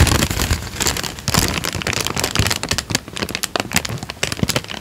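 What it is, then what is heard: Thin paper sheet crinkled. A thin tan paper sheet is held up, then folded and crinkled with the fingertips. It gives a dense run of sharp, bright crackles and rustles with soft low thumps underneath, with the loudest bursts coming near the start and in short spikes toward the end.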